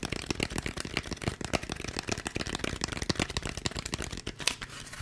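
A handheld white textured polystyrene foam packaging block is tapped and scratched quickly with the fingertips, moving close to and far from the mic. The result is a rapid run of sharp, dry, crinkly taps and scratches with a bright, brittle edge, each dying away almost instantly.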